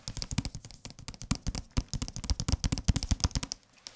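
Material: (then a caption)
Cardboard, paper. Fingertips tap rapidly on a thick hardcover book wrapped in a thin paper dust jacket, sounding thicker than an earlier paperback. The dense, irregular patter of dull, low thumps carries a light papery click on each tap and ends with a brief pause before a final few taps.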